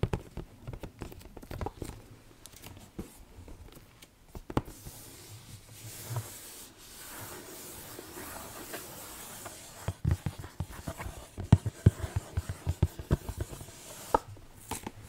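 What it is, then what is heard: Cardboard puzzle box being scratched. A glossy printed cardboard Harry Potter jigsaw puzzle box is turned front and back while fingertips and long nails rub and scratch across its surface. Soft, irregular scratches and light taps give way to a steady, quiet rubbing hiss in the middle. Sharper clicks and taps return toward the end.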